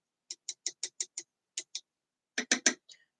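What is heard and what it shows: A fingertip or tool taps on a freshly made acrylic nail to check whether it is completely dry, giving eleven short, dry, high-pitched clicks in groups of six, two, and three, with a fainter tick at the end. The clicks sound hollow, like tapping on a panel, which shows the nail is fully dry.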